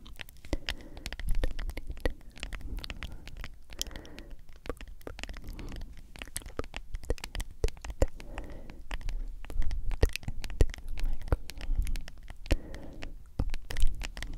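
Long acrylic nails tap and scratch on a medium, hollow plastic G Fuel powder tub with a white lid and a printed label. Quick, dry clicks and scratchy rasps come in a steady, busy stream. Each tap is short and leaves a low, hollow thump from the tub.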